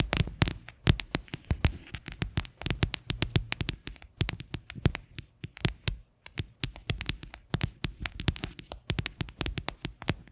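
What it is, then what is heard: Plastic container tapped with fingernails. Long fingernails tap rapidly on the base of an upside-down, hollow white faceted plastic container resting on a yellow lid, with a microphone foam nearby. Each tap is a sharp, bright click over a hollow, low thump that dies away almost instantly. The taps come in quick, uneven bursts throughout.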